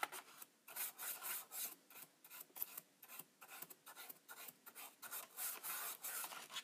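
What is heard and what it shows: A thin, pointed, pen-like tool scratches and scrapes along the plastic front panel and window edges of a Polaroid Supercolor instant camera. About sixteen short, quiet strokes sound in quick succession, each a dry, high-pitched, rasping scratch with no low end.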